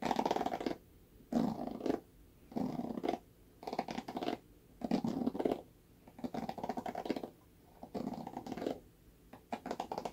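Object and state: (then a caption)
Plastic paddle hairbrush. Fingernails scratch and flick the bristles of a red plastic paddle hairbrush with a black bristle cushion, held by the handle. Short bursts of dry, crackly rustling repeat at an irregular pace, separated by brief near-silent gaps. The sound is soft and close, centered in the low midrange, with quick ticking flicks inside each burst.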